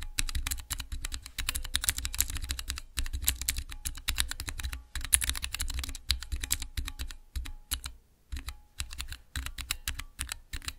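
Fingertips press and type on the transparent keycaps of a small clear acrylic Cherry MX mechanical keyboard switch tester. Quick, dense clicks and clacks come in bursts, each with a bright snap over a low thock and almost no ring. Brief pauses break up the runs of typing.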